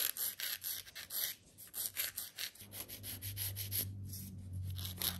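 A white and purple 100/180 emery nail file is stroked along the side of a long, clear stiletto plastic/gel nail extension, small and solid, held on a gloved hand. A quick series of bright, scratchy rubbing strokes rises and falls in short bursts, and a steady low hum joins partway through beneath the filing.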